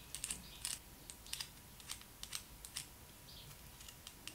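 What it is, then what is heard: Small plastic toy roller skate tapped with nails. Long acrylic nails tap and click on a small hollow yellow plastic Barbie doll roller skate held close. The result is a quiet, irregular series of light, dry, bright clicks that die away almost instantly over a soft steady background hiss.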